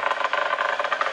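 Ceramic tiles on a metro tunnel vault are tapped one after another to check whether each is properly bonded to the supporting structure, since a hollow sound would reveal a loose tile. A quick run of short, dry, mid-pitched clicks centered around 1.2 kHz is heard, with no low end and very little ring after each tap.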